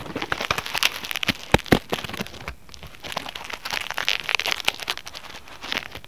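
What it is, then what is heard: Foam net fruit sleeve being scratched. Fingertips and nails scratch and rub across a white polyethylene foam mesh fruit sleeve resting on a mat. The result is a dense, bright crackling and crinkling, like light rain, with a few sharper snaps early on and a brief quieter lull before the rubbing picks up again.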